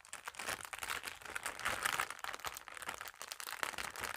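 A thin, flat, empty clear plastic packaging bag is held in both hands and crinkled and rubbed with fingertips and long nails. The result is a steady run of bright, crackling crinkles with sharp, short snaps that fade almost instantly.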